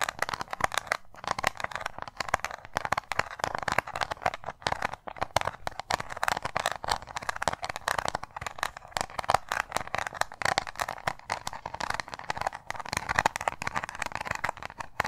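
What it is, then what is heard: Round metal tin, tapped and scratched. Long nails tap and scratch a small, hollow, round metal tin with a ridged lid. The result is a dense, continuous run of quick, dry clicks and raspy scratching, strongest in the midrange, with almost no ring after each hit.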